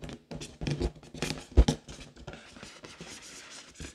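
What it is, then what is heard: Latex balloon. An inflated pink latex balloon, hollow and air-filled, is held against the body while long decorated nails scratch across its surface. Quick bursts of dry, rubbery scratching and squeaking come with a low, hollow thump underneath. The loudest stroke lands near the middle, and the sound fades to softer, fainter scratches toward the end.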